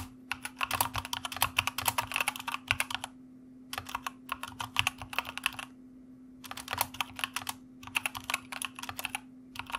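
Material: Plastic.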